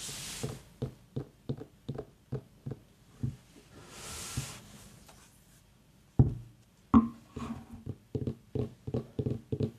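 Long fingernails tap on the sides of a small, whole, white, ribbed mini pumpkin, a hollow gourd, as it is held and turned. Short, dull, low knocks come in loose clusters, with a soft hiss of mist from an aroma diffuser nearby. A couple of sharper handling knocks break in near the end.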